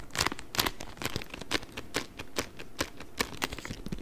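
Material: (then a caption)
Cardboard. A long, narrow, hollow printed cardboard product box is held and tapped and scratched with the fingers and nails. Quick, dry, papery taps land at an uneven pace over a continuous scratchy, crinkling rustle with bright edges. Each tap stops almost at once, with no ring.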